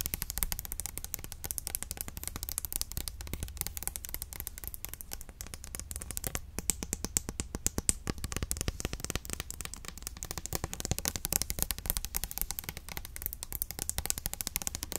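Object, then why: Plastic hair oil bottle. An orange translucent Garnier Ultimate Blends hair oil bottle, a hand-sized, hollow plastic bottle with a pump and partly full of oil, is held in one hand and tapped quickly with long acrylic nails. The result is a steady stream of short, dry, clicky taps with a bright edge and a low thump beneath, continuing without pause for the whole clip.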